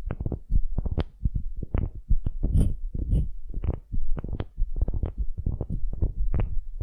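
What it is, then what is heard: Wooden cube, scratched. Long nails scratch rapidly across the end grain face of a solid, light wooden cube held in both hands. It makes a dense run of short, muffled scratching bursts with a deep, thumping low-end and very little brightness. Each scrape stops almost at once.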